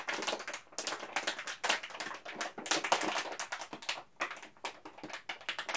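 A full yellow plastic M&M's candy bag is crinkled and rubbed at its top between the fingertips of both hands. Dense, bright, papery crackles come in rapid clustered bursts with brief quiet gaps, and there is almost no low end.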